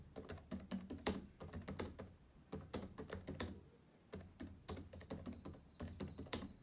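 Fingertips type and tap on the plastic keys of a black laptop keyboard, making quick, crisp clicks with short, dry decay. The clicks come in rapid bursts separated by brief quiet pauses, with a faint low hum underneath.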